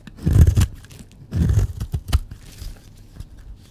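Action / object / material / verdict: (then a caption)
scrape / bar of soap shaved with a metal blade / soap / none. A solid, dry pink bar of soap is held in the hand while a metal blade shaves and scrapes curls off its surface. Short, dull, low scraping strokes come in bursts, the two strongest near the start and middle, followed by a few quieter passes.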